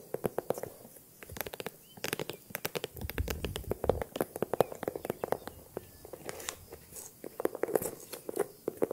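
Long nails tap and scratch the textured surface of a small green faux-croc, crocodile-embossed leather handbag with a top handle. The result is a quick, irregular patter of dry, crisp clicks with short scraping strokes between them, each tap dying away almost at once.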